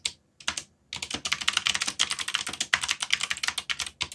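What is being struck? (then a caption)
Mechanical keyboard with plastic keycaps. Fingertips strike the keys of a backlit mechanical keyboard with black plastic keycaps. A few separate clicks at the start give way to rapid, continuous typing of about two dozen sharp, bright plastic clacks. Each keystroke dies away almost instantly, with almost no low end.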